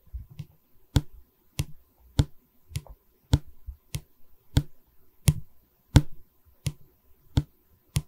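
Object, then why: Pine canvas stretcher bar. Long nails tap and scratch a solid pine bar of a wooden canvas stretcher frame held in both hands. Twelve sharp, dry taps ring out at a steady pace, each with a low woody thump and a short bright click. Soft scratching and rustling fill the gaps between them.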